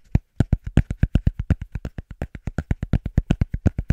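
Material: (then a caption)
Cork. A cork surface is tapped quickly and rhythmically, giving a steady stream of short, dull, low thuds with a faint dry click on top. The taps are fairly regular after a brief pause near the start, each one dying away almost instantly with no ring.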